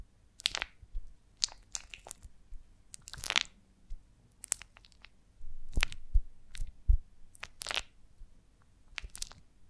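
Long nails scratch and rub across the wax cells of a rounded golden beeswax honeycomb on a branch, held in hands. Short, crisp, bright crackling scrapes come in irregular bursts over a faint low rumble.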